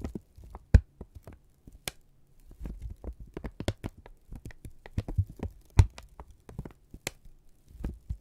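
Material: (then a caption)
Paper. A single flat strip of thin brown kraft paper is held in both hands, squeezed together, stretched and crinkled with the fingertips and thumbs. It gives soft, low papery rustles broken by many quick, dry crinkling ticks, several of them sharp, bright snaps. The sound is quiet, close and mostly deep, with the sharp crackles dying away almost instantly.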